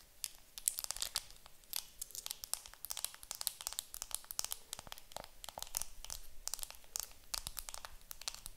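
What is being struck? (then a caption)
Makeup compact in plastic film wrap. A round makeup compact wrapped in clear plastic film is held in hands while long nails scratch and crinkle the film. Many rapid, sharp, bright crackles and crisp ticks come in quick bursts over a soft low hiss, each dying away almost instantly.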